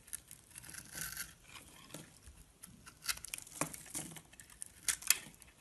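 A palm-sized solid orange bar of soap with a scored surface is held in the hand and scraped and shaved with a metal blade, with shavings crumbling off. Quiet, bright, crisp scratching and crackling strokes come in short bursts, a few sharper and louder than the rest, with almost no low end.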